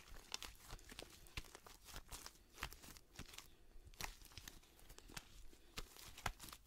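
A large mass of pale pink fluffy slime, held in both hands in front of the body without touching the mic, is stretched, pulled and squished by fingertips and long nails. It makes quiet, irregular sticky crackles, soft squelches and bright snapping pops over a low, murmuring background.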